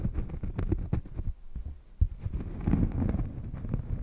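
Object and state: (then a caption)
Cork coaster scratched. A thin, solid, round cork coaster, held against a furry microphone windscreen, is scratched across its face with long painted nails. It makes a rapid run of deep, muffled, bassy thumps and scrapes with almost no high end, plus one sharper low knock midway.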